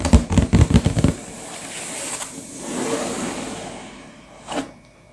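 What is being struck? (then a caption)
Sealed cardboard box. Both hands tap with fingertips and short nails across the back face of a sealed, full, medium-sized hollow cardboard LEGO box lying flat. Six quick, deep, hollow thumps come in the first second, followed by a soft, rustling scrape across the cardboard and a single light tap near the end.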